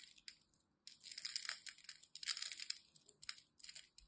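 A utility knife blade scrapes and cuts small cubes from the scored face of a solid green and white striped glycerin soap bar held in hand. Quiet, bright, crisp crunching and scraping come in uneven bursts, with short pauses between cuts.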